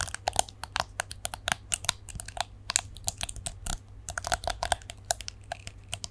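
Long nails flick the plastic bristles of a plastic detangling hairbrush held in both hands, producing a rapid, irregular run of sharp, bright clicks that die away instantly. A faint, steady low hum sits underneath throughout.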